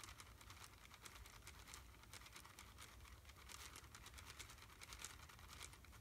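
A small red plastic wrapper around a single candy is held up in one hand and squeezed and crinkled with the fingertips. It makes a quiet, steady stream of bright, rapid crackles over a low, constant hum.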